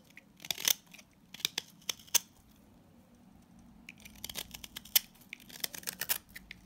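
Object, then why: Salt scrub soap bar and blade. A box-cutter blade shaves crumbly flakes from a pink solid salt scrub soap bar held in the hand. Crisp, bright scraping and crunching bursts come in short sharp strokes, sparse at first and then denser toward the end, with almost no low end.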